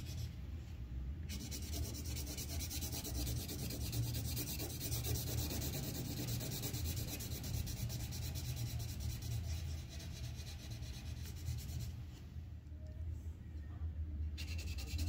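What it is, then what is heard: Paper sheet shaded with colored pencil. A red colored pencil rubs dense back-and-forth shading across the pot on a thin white paper coloring sheet resting on a clipboard. The result is a steady, rapid scratchy rubbing with a bright papery hiss over a strong low rumble, easing slightly for a moment near the end before continuing.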